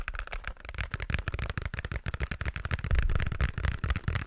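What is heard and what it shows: Fingertips and nails tap and scratch a small pink cardboard box held right up close to the mic. The result is a rapid, irregular stream of soft, boomy low thuds layered with dry, brief scratchy clicks that grow a little louder toward the end.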